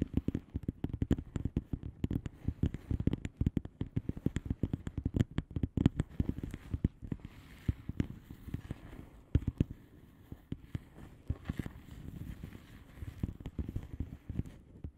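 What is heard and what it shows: Long polished nails of both hands tap and scratch the plastic bubble wrap surface of a flat padded envelope. Over 15 seconds, a dense, quick stream of soft, dull taps with crinkly scratching fills the clip, weighted toward the low end with almost no brightness. Each tap dies away at once.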